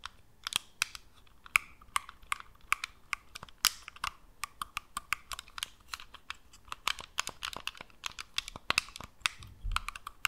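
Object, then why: Plastic game controller. Long acrylic nails tap and click on the shell and buttons of a black, hand-sized, hollow plastic PS4-style gamepad held in both hands just above the microphone. The result is an irregular stream of sharp, dry, bright clicks with no ring, and some may be mechanical clicks from button presses. A soft low thump from handling comes near the end.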